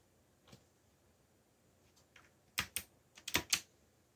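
Fingertips type quickly on the plastic keycaps of a backlit black plastic mechanical keyboard. A few faint taps are followed by a cluster of four louder, bright, sharp clicks that end almost at once. The result is a quiet, irregular burst of typing.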